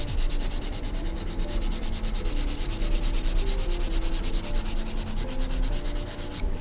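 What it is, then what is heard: Stylus scratching on a glass drawing screen. A plastic stylus nib is dragged across the flat, solid glass screen of a large 21.5-inch Gaomon PD2200 pen display while sketching. Steady, rhythmic rubbing and scratching strokes repeat quickly with a bright, gritty hiss over a low hum. The strokes run continuously at an even level before cutting off at the end.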